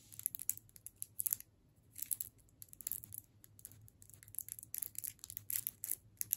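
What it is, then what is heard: Wrapped candy cane. Long fingernails on the right hand tap along the shaft of a solid striped candy cane in its plastic wrapper, held in the left hand. Quiet, bright, crinkly clicks come in quick clusters separated by short pauses, over a faint low hum.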